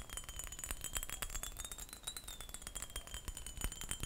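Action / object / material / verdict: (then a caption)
tap / textured glass perfume bottle / glass / none. A textured glass perfume bottle is tapped and scratched with rapid, light, dry clicks that rattle and clink over a steady faint high-pitched tone. Each tap dies away almost instantly, leaving a busy, continuous clatter throughout.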